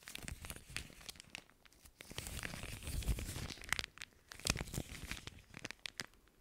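An empty, clear plastic zip-lock bag, folded and held in both hands close to the mic, is crinkled and squeezed with fingertips and nails. It makes dense, crackling crinkles with sharp, bright snaps and a soft low rumble. The sound swells louder in the middle and again near the end before trailing off quietly.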